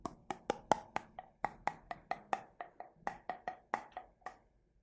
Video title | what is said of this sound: ASMR Tapping : Que Ressens-Tu ? | en tapping, avec le changement de son en fonction de l'eau